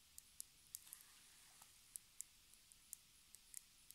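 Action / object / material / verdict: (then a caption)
tap / small plastic cosmetic jar with ridged lid / plastic / none. Long red nails tap and scratch along the ridged screw lid and base of a small, round, palm-sized, hollow black plastic cosmetic jar with a white label on the bottom. The result is a quiet, uneven series of sharp, bright, high clicks and faint scraping ticks that stop instantly, over a soft steady hiss.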